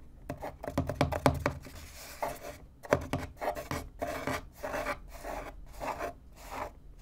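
Fingertips and nails tap and scratch the top panel of a small, empty, hollow corrugated cardboard box. A cluster of quick, sharp taps with a dull, hollow low tone comes first, followed by a steady series of short, papery scratching strokes.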